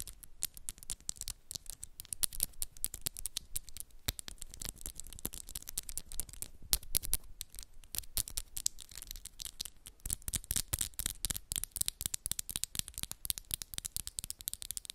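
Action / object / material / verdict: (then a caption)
tap / acrylic nails / acrylic / none. Long, solid black and pink acrylic press-on nails tap and scratch against each other in front of a hoodie. Fast, dry clicks and scratchy rasps come in a dense, continuous stream for the whole clip, with bright, high edges and no ring after each click.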